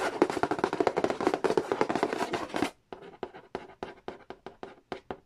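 Fingertips and a small pen-like tool tap quickly along the lid and edge of a hollow cardboard Monopoly board game box. A dense, rapid flurry of dry, hollow taps with a mid-range knock fills the first half. After a brief pause, slower, separate taps follow, each dying away almost instantly.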